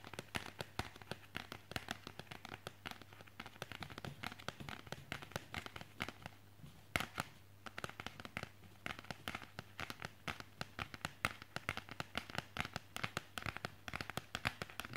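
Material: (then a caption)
Cardboard. A flat cardboard CD digipak, held in the hands with its back cover in view, is tapped and scratched by fingertips and nails. The result is a dense stream of quick, dry, crackly taps and scrapes with no ring. A steady low hum sits underneath.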